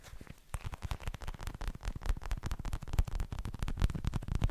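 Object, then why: Plastic gel-filled cushion pad. Fingertips and nails tap and scratch the plastic surface of a pink translucent gel cushion pad filled with gel beads, held up in one hand. A rapid, uneven stream of soft, dull taps with crackly scratching between them carries mostly low, muffled thumps with short, dry decay.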